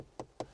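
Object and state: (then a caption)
Good-quality interior plastic trim. A ring taps the interior plastic trim of a 2020 Peugeot 2008 twice, giving two short, dull knocks centred around 500 Hz that die away quickly. The trim sounds solid and good-quality, less plasticky than the Volkswagen T-Cross or T-Roc.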